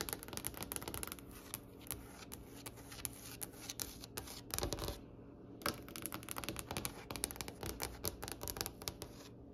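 Long acrylic nail tips tap and lightly scratch a large, solid wooden tabletop with a glossy finish, both hands working with fingers clustered. Rapid, dry, clicky taps come in uneven bursts, with brief scratchy strokes between them and a faint steady high whine underneath. Each tap dies away almost instantly.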